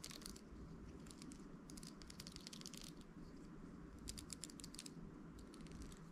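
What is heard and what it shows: A round hairbrush with an amber translucent plastic barrel and handle and dense pin bristles is held in the hand while fingertips and nails scratch and flick the bristles. Quiet bursts of bright, crackly clicking and scratching come and go over a steady low background hum.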